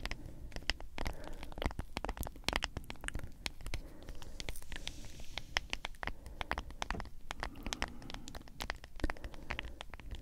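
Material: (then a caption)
Plastic. Long acrylic nails tap rapidly on the white lid and sides of a medium cylindrical G Fuel plastic powder tub with a printed label. The result is a quiet, dense stream of short, bright clicks with almost no ring, over a soft low rumble.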